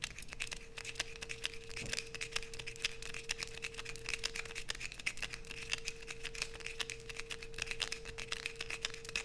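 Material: Soap.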